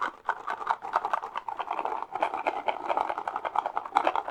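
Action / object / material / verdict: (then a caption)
tap / small cardboard cereal box / cardboard / none. A mini cardboard Froot Loops cereal box is tapped rapidly and lightly with the fingertips. It makes a dense, continuous patter of short, dry taps that die away almost at once, centred in the mid range with no low-end thump.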